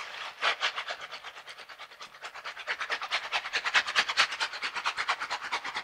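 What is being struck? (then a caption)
Silicone scrubber gloves with bristle pads. A pair of yellow silicone dishwashing gloves with bristle pads, worn on both hands, have their palms and bristles rubbed and pressed together. The result is a fast, steady series of short, bright, bristly scrubbing strokes, with no low rumble. The strokes grow slightly louder and more pronounced toward the end.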